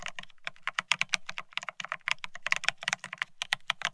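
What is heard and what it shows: A Bear65 mechanical keyboard with blank white matte ceramic Cerakey keycaps on a steel plate, resting on white cloth, is typed on rapidly with the fingertips of both hands. The clip is a dense run of about 27 sharp, bright, clacky keystrokes, each stopping almost instantly, with a little low thump beneath the high clicks.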